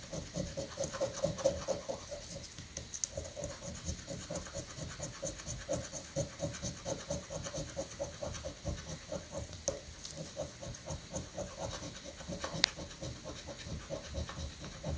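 A coin scratches the prize boxes on a thin, flat paper prank scratch-off lottery ticket resting on a granite countertop. The result is a steady run of quick, rough scratching strokes with a gritty, bright rasp, a faint mid-range tone running through them, and a sharp click near the end.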